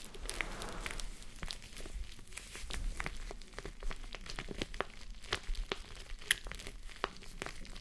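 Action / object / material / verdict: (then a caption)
scrape / plush fabric covered gel face mask / plush fabric / none. Long nails scratch the top of the pink, soft plush fabric side of a gel face mask resting on a mannequin head. The result is a quiet, continuous scratchy rustling with a soft low rumble underneath, dotted with many quick, bright crackling ticks that fade almost instantly.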